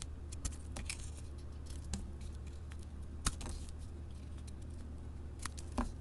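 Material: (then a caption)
Soap. A solid mint-green soap bar with a printed floral coating is held in hand and shaved with a flat metal blade. Short, crisp scraping clicks come one after another, with a few sharper peaks, over a steady low hum.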